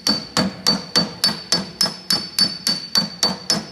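A steel body hammer with a wooden handle taps 13 times in a steady rhythm on a thin, hollow, bare sheet-steel car quarter panel, hammer-on-dolly planishing. Each tap is a bright metallic clink with a short, high ring that fades quickly before the next strike.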